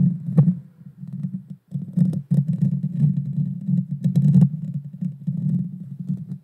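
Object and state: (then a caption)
Metal mesh microphone grille being scratched. Long dark fingernails scratch the small, hollow, round metal mesh grille of a Blue Yeti Nano microphone. The result is a dense, low, rumbling scrape that rises and falls in rough bursts, with occasional sharp, bright clicks cutting through. It pauses briefly near the middle before the scratching resumes.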